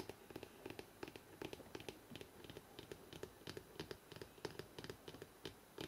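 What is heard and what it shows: Fingertips tap rapidly on the spine of a thick hardcover book held in the hands, producing about thirty short, dry knocks with a hollow tone around 418 Hz and faint bright clicks. Each tap dies away almost instantly over a quiet background.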